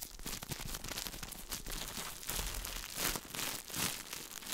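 A small, shiny plastic-film food package is held in both hands close to the microphone while fingertips crinkle and rub the wrapper. The result is a continuous, dense crinkling and crackling with bright, hissy texture and brief louder swells, with no separate hits standing out.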